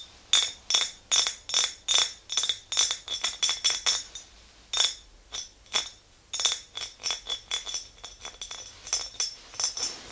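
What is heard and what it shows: Long green nails on both hands tap the walls of an empty clear glass mason jar with a handle, producing a brisk, uneven series of bright, clinking taps. Each tap rings briefly with a glassy tone near 3.6 kHz and fades quickly, with quiet pauses between some bursts.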